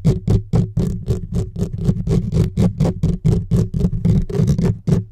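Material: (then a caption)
Metal mesh. Fingertips and short nails from both hands scratch fast on the bare metal mesh grille of a silver USB microphone, with no windscreen on it. Rapid, unevenly spaced scratchy bursts come about four times a second, heavy in low boomy rumble with a faint hiss. Each burst dies away almost at once.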